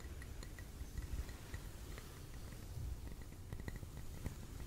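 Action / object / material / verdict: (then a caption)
tap / glass jar filled with candle wax / glass / none. A clear glass tumbler filled with red candle wax is held close and tapped with fingertips and nails on its wall and base. The taps come as soft, short clinks with a faint high ring over a low, muffled background rumble.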